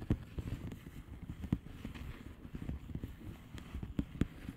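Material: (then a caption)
Plastic. Long painted nails of both hands tap and scratch the bubbles of a blue plastic bubble wrap mailer lying flat. Soft, dull, low taps with very short decay are heard over a faint continuous scratching, with a few sharper clicks standing out.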